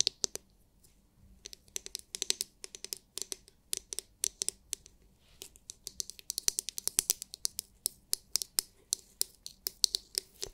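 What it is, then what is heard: Plastic massage brush tapped with nails. Long nails tap rapidly on the hard, clear, glitter-filled plastic dome of a palm-sized oval massage brush. Dense runs of sharp, bright clicks come in quick, uneven bursts, each tap dying away at once with almost no low end.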